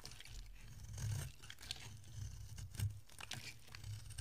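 A utility-knife blade shaves curls off a solid, dry orange oval soap bar with a blue rim, held in the hand. The result is a quiet, irregular run of dry crunching and scraping strokes, with a low, dull body under bright, crisp flecks.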